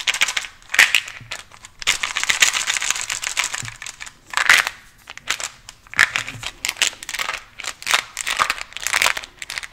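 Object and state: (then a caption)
Plastic gum container. Fingernails tap and scratch a small white translucent cylindrical plastic gum container with a red label, holding pieces of gum. Bursts of bright, crinkly scratching alternate with quick dry clicks, all high and thin with almost no low end. Each sound dies away almost at once.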